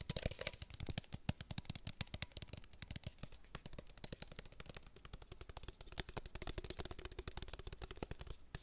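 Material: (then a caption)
Plastic. Fingertips tap quickly on a hollow, clear plastic water bottle with a blue label, held close. The result is a fast, steady stream of short, dry, hollow knocks with a low thump around 120 Hz and crisp, bright clicky edges. Each tap dies out almost instantly.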